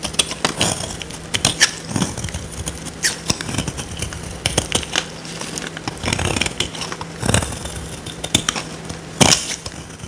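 A solid, dry, oval purple soap bar held in the hand is scraped and cut with a small metal blade, and curls of dry soap break off. Quick, bright, crisp scraping and crackling bursts come in uneven clusters over a faint steady low hum. Each burst stops short with little ring.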